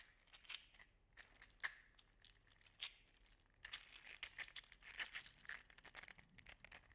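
An orange and gold segmented 3D printed PLA articulated slug toy is held in the fingertips, dangled and flexed so its joints click. Quiet, bright, dry clicks and light crinkly rattles come in scattered bursts, with a few sharper snaps standing out. Each click dies away almost instantly.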